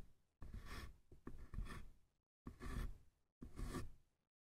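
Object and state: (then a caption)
Small wooden box, tapped and scratched. Fingertips tap and scratch the sides and top edge of a small, hollow, light-wood box with a painted lid. Six soft, separate bursts of scratchy rasping are heard, each with a dull low thud and a faint bright hiss, and quiet gaps between them.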